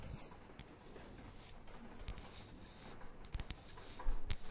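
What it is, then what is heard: Wooden disc scratched and tapped. Long painted fingernails scratch and tap a thin, solid, palm-sized round disc of light wood. Soft, quiet scratching fills most of the clip, broken by light taps that grow louder and more frequent toward the end.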